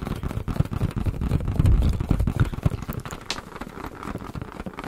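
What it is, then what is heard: Inflated rubber balloon. A hand-sized, hollow, air-filled blue latex balloon is held in both hands close to the microphones and tapped and rubbed with fingertips. The result is a fast, uneven run of soft, deep, boomy thumps with brief scuffing rubs between them.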